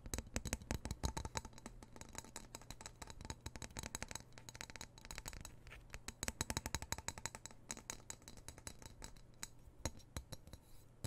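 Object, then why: Steel knife blade tapped and scratched with fingernails. Fingernails rapidly tap and scratch the solid steel blade of a black-handled knife held over a microphone, making dense, short, dry clicks and scrapes with very little ring. A steady low hum sits beneath the taps throughout.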